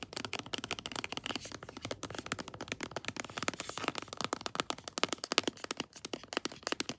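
A pink floral plastic lotion tube is held upright and tapped fast with long blue nails, producing a rapid stream of sharp, bright clicks. Each tap dies away almost instantly, with very little low end.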